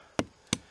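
Two short, dull thumps on the trunk of a dead hickory tree, higher up the trunk, each cutting off quickly with little ring. The wood sounds solid there, sound enough for cutting a felling hinge.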